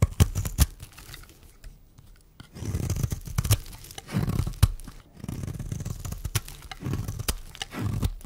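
A metal blade shaves flakes off a solid, dry, pink and white striped bar of soap held in the hand. Several rough, crunchy scraping strokes alternate with sharp clicks and brief quiet gaps, with the sound weighted toward a low, dull body.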